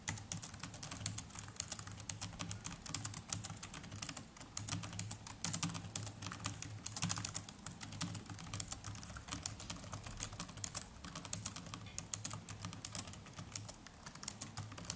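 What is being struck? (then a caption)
Plastic laptop keyboard. Fingertips of both hands type continuously on the plastic chiclet keys of a small black netbook keyboard. The rapid, soft, bright key clicks are short with almost no ring, over a steady low hum.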